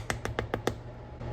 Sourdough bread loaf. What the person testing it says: if it sounds hollow, then it's done